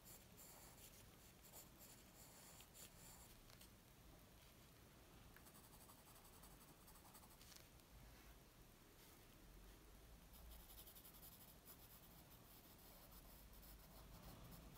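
A graphite pencil strokes and scratches across a flat white paper sheet resting on a wooden table. The quiet, steady scratching has brief bright bursts as the strokes change, over a faint low rumble.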